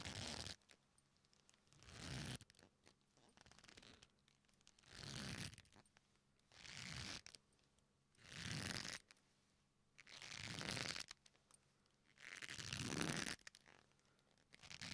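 A leather belt is pulled, bent and twisted between both fists close to the microphone, its leather creaking and crunching as it flexes. Six rising swells of bright, gritty creaking rise out of near silence, each building and then cutting off before a short quiet pause.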